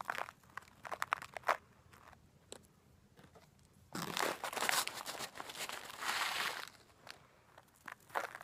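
A clear, labeled zip-top plastic bag partly filled with coarse rock bath salt crystals is handled, shaken and pinched at the top with long nails. Sparse, bright crinkles and clicks give way to a dense burst of crackling plastic and rattling crystals, then taper back to scattered light crinkles.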